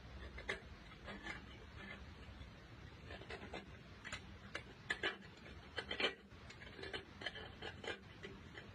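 A green-handled metal blade held in a gloved hand scrapes a large, solid white chalky block, and powder falls onto broken chalk pieces below. Short, bright, crisp scraping strokes with quick ticking edges repeat irregularly over a faint, steady low rumble.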